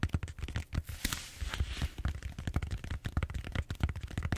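Fingernails scratch and tap across the surface of a large purple bead-foam styrofoam roller held horizontally. A quick, uneven run of short, dull taps with a low thump dominates, and brief bright scratchy rasps appear between them, most noticeably in the first half.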